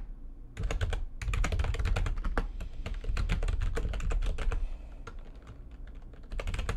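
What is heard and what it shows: Fingertips with long nails type fast on the keys of a full-size, low-profile, backlit plastic computer keyboard resting on a desk. Dense, uneven runs of sharp, bright clicks sit over a low, thumping rumble. There is a short pause near the start and a softer, sparser stretch before the typing picks up again at the end.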